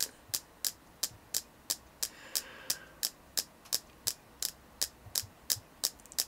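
Steady tapping on a selenite crystal gives about twenty short, bright clicks in a fairly even rhythm, each dying away almost at once. A faint hiss lies underneath, swelling slightly for a moment partway through.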